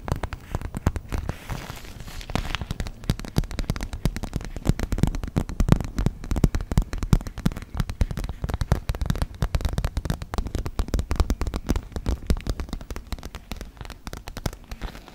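Long red nails tap and scratch a small, empty, transparent PVC makeup pouch with pink edging, held close to the microphone. The result is a dense, continuous stream of quick, dry crackling taps, heavy in the low end, with each tap dying out almost instantly.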